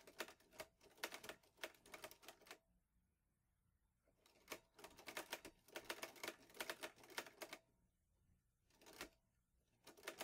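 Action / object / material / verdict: tap / metal portable manual typewriter / metal / none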